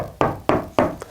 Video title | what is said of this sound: How to Wall Mount a Tv on ANY TYPE OF WALL - Complete DIY Guide | tap the wall and it sounds very Hollow wherever we tap on that wall